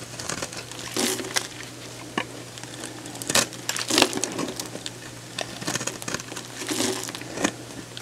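A hand-sized, solid light-blue oval bar of soap is held in the hand and shaved and scored with a metal box-cutter blade, peeling off thin strips. Bright, crisp crinkling scrapes come in short bursts and longer drawn cuts over a faint steady low hum.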